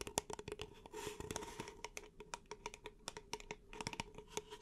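Long nails tap rapidly on the side of an empty, upright, hollow beige paper cup held in both hands, making about 24 sharp, dry clicks with a hollow tone near 420 Hz and bright crisp edges. Around the one-second mark, a brief scratchy, rustling stretch blends with the taps, and each tap dies away almost instantly.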